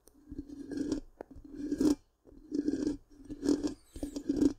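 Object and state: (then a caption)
Metal mesh microphone grille being scratched. Long pink-painted nails scratch the black, round, hollow metal mesh grille of a large microphone. Five rasping scratch strokes are heard, each a gritty rubbing burst with a steady hum-like tone underneath and a bright, hissy edge. The strokes are separated by short pauses.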